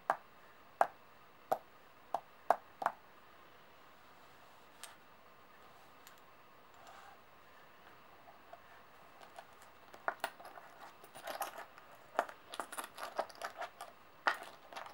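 Long nails tap solid metal coins on a table and pick them up. Six sharp, bright clicks come in the first three seconds, then a few scattered taps, before denser clusters of clinking and light shuffling fill the last five seconds. Each tap is quiet and dies away instantly without ringing.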